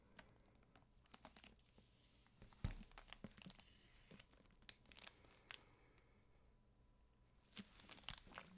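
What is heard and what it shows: A medium hardcover library book, "Conflict and Crisis," in a clear plastic jacket, solid, is held and rubbed with fingertips and nails. Scattered crinkles and scratchy rustles rise from the quiet, low background, with a louder crunch near 2.7 seconds and bright crackles toward the end.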